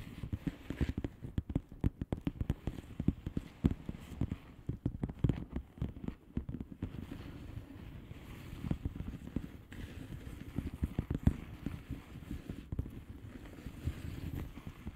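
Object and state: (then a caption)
Plastic bubble wrap envelope. A flat blue plastic bubble wrap padded envelope with air-filled bubbles is scratched and tapped with the long fingernails of both hands. The result is a steady stream of soft, dull, low taps and rustling scratches. Each tap is short and dry with almost no ring.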